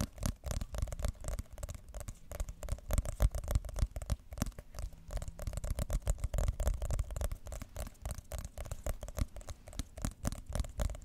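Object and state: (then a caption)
Cardboard phone box. Long nails tap and scratch the printed top of a white glossy cardboard iPhone box held in both hands. The result is a steady, rapid patter of short, dull taps mixed with crinkly scratching, heavy in the low end, with no ring after each hit.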